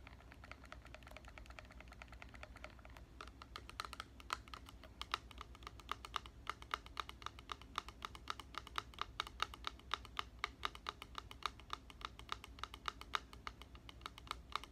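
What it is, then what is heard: Plastic spray bottle. A medium clear plastic spray bottle with a white trigger head, partly filled with liquid, is held in one hand and tapped with the fingertips and nails of the other. The result is a stream of quick, dry clicking taps centred around 1.2 kHz, each dying away almost instantly. The taps are sparser at first and become faster and denser after about three seconds.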